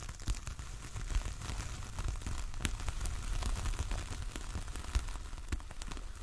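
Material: Coir fibre.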